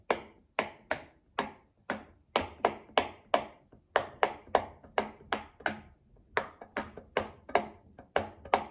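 A child presses the hollow bubbles of a rectangular rainbow silicone pop-it fidget toy with a mint-green base, resting on a glass table, using her fingertips. Each press gives a short, dry pop with a quick bright snap and very little ring. The pops come in a steady series at a mostly even pace, with a few quick pairs.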